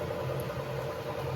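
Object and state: Nothing is struck.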